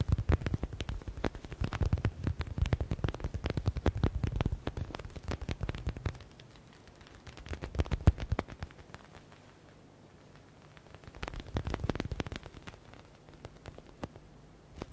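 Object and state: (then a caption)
Faux leather stress ball. Fingers quickly tap and scratch a hand-sized, yellow stitched smiley stress ball with a faux leather (synthetic leather) cover. Dense, muffled, low thumps and soft crackly scratching come in bursts: a long run at the start, then shorter flurries with quiet pauses between.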